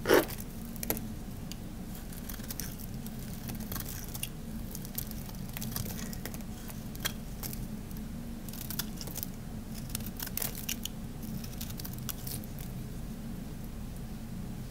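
A metal box-cutter blade scrapes and shaves thin, crunchy curls from the surface of a palm-sized, solid oval bar of dry black soap held in the hand. The result is a steady bed of soft, gritty scraping with a low rumble underneath, dotted with brief, bright crackles and crunches and a sharper click at the very start.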